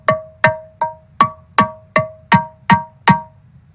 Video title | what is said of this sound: Cycle de conférences l Notre-Dame de Paris en chantiers. Archéologie du paysage sonore | une bonne pierre donc une pierre qui cloche qui sonne